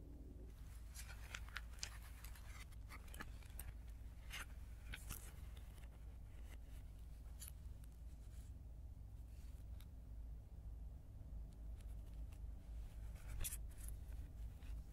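A thin, layered stack of blue tissue flower paper lying flat on a dark cloth is folded, unfolded, rubbed and crinkled with bare fingertips, and the sound is played in reverse. Brief, bright papery crackles and rustles flicker over a steady low hum. The overall level is quiet.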